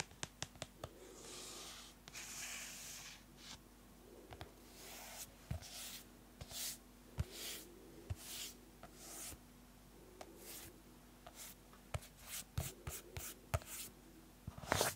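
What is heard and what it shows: Long nails scratch the cover and edges of a closed yellow-orange hardcover paper notebook, making soft, bright rasping strokes broken up by sharp little taps and clicks. A faint steady low hum runs underneath, and the clip ends in a burst of quick clicks.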